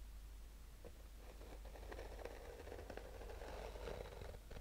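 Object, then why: Hard sunglasses case covered in textured nylon fabric. A black fabric-covered hard-shell sunglasses case, textured nylon stretched over a rigid hollow shell, is held in the hands while fingernails slowly scratch and tap its surface. Soft, scratchy rustles and light, dull taps come through over a steady low hum, at a quiet, fairly even level.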